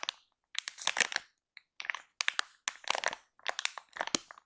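A full, soft plastic-film baby wipes pack is pressed and tapped by both hands with fingertips and long nails. Bursts of bright, dry crinkling and crushing plastic are separated by brief silences.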